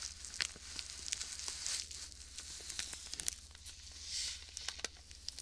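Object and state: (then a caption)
Plastic bag of sand being squeezed. A small clear plastic bag filled with white sand is squeezed and crinkled with fingers close to the mic. It gives a quiet, bright, gritty crackle full of sharp, fast-fading clicks and hissy swells, over a faint low steady hum.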